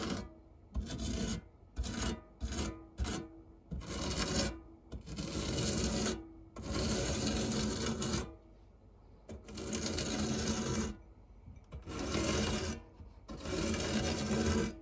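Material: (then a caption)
Metal. A silicone spatula scrapes and rubs across the textured base of a round, dark grey non-stick metal tart tin with a fluted edge, near a pile of crumbs. The strokes come as bursts of dry, rasping scraping, some short and some longer and sustained, separated by brief quiet pauses.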